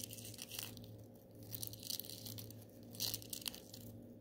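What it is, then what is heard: Glitter-coated styrofoam balls being crushed. A handful of small gold glitter styrofoam balls is squeezed and crushed in one hand with the fingers, giving a dense stream of quiet, bright crunching and crinkling. Short, sharp crackles with no ring rise and fall in clusters over a steady low hum.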